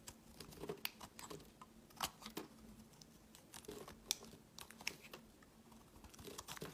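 A steel utility blade shaves the edge of a solid white translucent rectangular bar of soap held in the hand. Quiet, crisp scraping strokes come with sharp, bright ticks and crackles against a faint steady low hum. Each shaving sound stops almost at once, with no ring.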